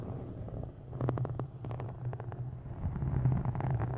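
Long nails tap the cover of a solid, dark green embossed faux-leather hardcover book, then tap its edges as it is held. Quick, dry clicks come in clusters over a steady low hum, rising slightly in level toward the end.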